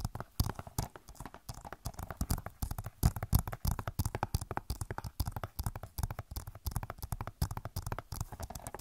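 Long nails tap rapidly on the back of a hollow plastic Overwatch game case. Dense, uneven bursts of short, dry clicks come with a low hollow thump under each tap and almost no ring. The tapping runs steadily for about nine seconds.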